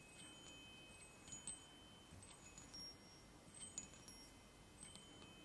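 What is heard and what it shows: Fingertips tap and rub three hollow aluminium chime tubes mounted on a wooden block. Several soft strikes ring out as bright, high, sustained tones that linger and overlap. A faint, steady hiss sits underneath throughout.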